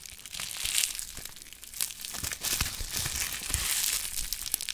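A small wad of clear plastic bubble wrap with a bit of yellow tape on it is held close to the microphone while fingertips squeeze, crumple and pop the bubbles. A soft, steady, bright crinkling fills the clip, dotted with sharp little crackles and pops, with almost no low end.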